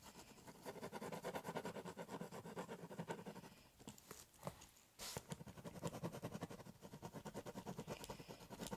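A biro pen held in the hand scratches continuously across the top of a large, empty corrugated cardboard shipping box lying flat, drawing and cross-hatching. Quick, rhythmic back-and-forth strokes rasp over the hollow box, which adds a low, boxy resonance. The strokes thin out briefly just before the midpoint, then resume at full pace.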